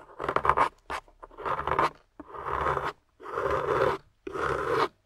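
A small metal scoop tool scrapes across a solid grey plaster block with carved ridges and a yellow plastic fossil embedded in it. A quick flurry of short, gritty scratches is followed by four longer, steady rasping scrapes with brief pauses between them. The tone is dry and mid-range.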